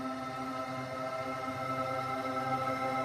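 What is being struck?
Nothing is struck.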